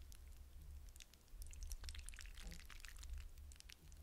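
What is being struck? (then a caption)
Hydrogel water beads in a glass bowl. Fingertips swirl and stir a glass bowl full of wet blue hydrogel water beads. Soft, wet squishing and a dense patter of tiny bright clicks and ticks ride over a steady low hum. The sound stays quiet and continuous with no clear separate hits.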